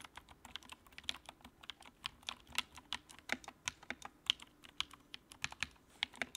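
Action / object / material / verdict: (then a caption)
tap / plastic mechanical keyboard / plastic / none. Fingertips type on the keycaps of a compact white plastic mechanical keyboard with backlight, producing about 28 quick, separate keystrokes over six seconds. Each press is a short, bright click with almost no low end, dying away almost instantly between strokes.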